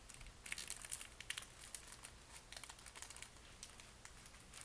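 A flat red retail pack of tissue wrapping paper in plastic packaging with a "20" label, roughly book-sized, thin and soft, lies on a satin bedspread. Fingertips and palms press, rub and crinkle it, then lift and handle it. The result is quiet, irregular, bright crinkling with sharp crackles and no ring.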